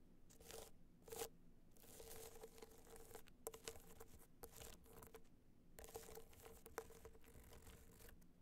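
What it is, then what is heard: Hard-shell box clutch scratched and tapped with nails. Long nails tap and scratch a small, rigid, hollow gold hard-shell box clutch covered in gold metallic material with raised dots. Quiet bursts of dry scraping and crackly scratching come and go, with sharper taps that bring out a faint hollow ring around 450 Hz.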